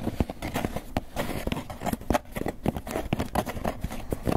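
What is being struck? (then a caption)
Polystyrene foam takeout container. A small, hollow, closed and apparently empty white polystyrene foam clamshell takeout container is held in both hands and tapped and scratched with long fingernails and fingertips. A rapid, uneven stream of dull, hollow taps mixes with dry scratching, weighted toward the low end with little brightness. Each tap dies away almost at once.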